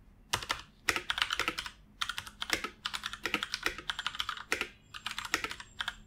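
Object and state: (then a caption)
Plastic computer keyboard. Fingertips of both hands type continuously on a full-size black plastic computer keyboard resting on a wooden desk. Quick, bright plastic key clicks come in rapid bursts separated by brief pauses, each tap dying away almost instantly with very little low end.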